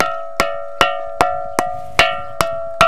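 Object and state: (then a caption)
Solid stone arch that rings like metal. A solid, single-piece stone arch above a column at Jerash, made of a different stone from the column, is knocked seven times at a steady pace. Each knock rings like a metal bell, with a clear high tone near 1.4 kHz over lower tones around 600–700 Hz that fade quickly. The stone is solid, not hollow, and its ringing reportedly served as an earthquake alarm.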